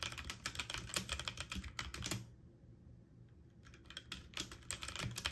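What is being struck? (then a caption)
Mechanical keyboard with plastic keycaps on a metal frame. Fingertips with short painted nails type quickly on a full-size backlit mechanical keyboard with plastic keycaps on an aluminum frame. A rapid, uneven run of bright clacking key presses stops for about a second, then resumes just as fast.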